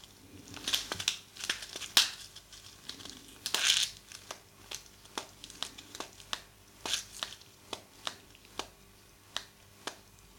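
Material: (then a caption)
Paper. A thin, folded purple tissue paper sheet is held first over the mic and then in front of it, crinkled and rubbed along the fold with the thumbs and fingertips. Bright, dry crinkles and rustles build into louder bursts early on, then give way to a steady run of sharp, quick crackles and snaps that die away almost instantly, with almost no low end.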